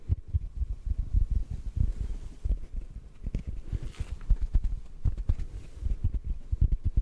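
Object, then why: Synthetic foam sponge block. A large, soft, solid yellow block of porous synthetic foam sponge is held horizontally and then upright close to the microphone while fingertips gently tap it. The taps come as a steady flurry of soft, muffled low thumps with almost no ring and no bright edge.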